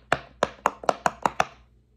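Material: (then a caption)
Silicone. Fingertips of both hands press the hollow bubbles of a large square rainbow silicone pop-it fidget toy row by row. Seven sharp popping clicks sound, with a couple of fainter pops between them. Each pop is a dry, short snap that centres around 700 Hz.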